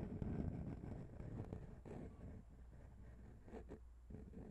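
A long pink fingernail taps and scratches the small chrome metal microphone capsule of a grey Zoom H6 recorder. The result is a quiet, muffled run of low thuds and scraping rumble, with faint short ticks and almost no bright high end.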